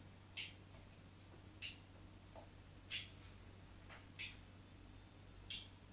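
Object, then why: Bar of soap scraped with a knife blade. A craft knife's metal blade scores and scrapes lines into a small, solid white bar of soap held by one hand on a patterned cloth. Five short, bright, crisp scratching strokes come at a loose, unhurried pace, with fainter scrapes between them, over a steady low hum.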